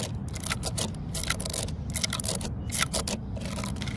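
Long fingernails scratch into the vertical cracks of a solid, grey weathered wooden post outdoors and tap on its surface. Short, bright, dry scratching bursts come in quick, uneven succession over a steady low rumble.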